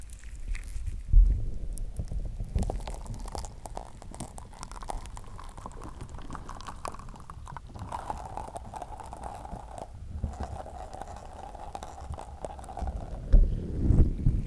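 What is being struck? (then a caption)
Soft slime. Soft green slime is stretched, squished between the hands and pulled and pressed with the fingers right over the mic. The result is a steady stream of wet, sticky squelches and small crackling pops with a heavy low rumble. The noise swells into louder squishy bursts near the start and again near the end.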